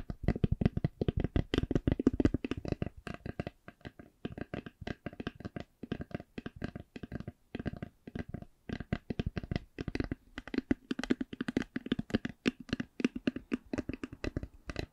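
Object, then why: Faux leather covered hard eyeglass case. A closed, hollow, black faux leather hard eyeglass case is tapped and scratched with long nails. Rapid, dry taps come in dense bursts with brief pauses, each with a short hollow thump and almost no ring. Light scratchy textures run between the taps.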